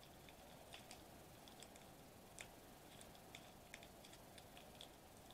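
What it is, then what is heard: Foil bubble wrap sheet. Fingertips press and squish the bubbles of a flat silver metallized plastic bubble wrap sheet lying on a white table. Soft, bright crinkly ticks and small pops sound at irregular intervals over a quiet, steady hiss.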